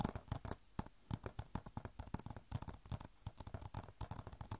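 Long nails scratch and tap on an Overwatch PC game box, a hollow plastic case with a glossy cover. A quiet, rapid series of dry, clicky taps and scrapes follows, each with a low body and bright crackly edges that stop almost at once.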